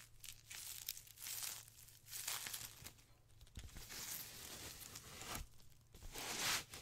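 A white ribbed polyethylene foam packaging sheet is bunched and squeezed in the hands, then laid flat and rubbed. It gives off quiet, bright, crackly crinkling in repeated bursts over a faint steady low hum.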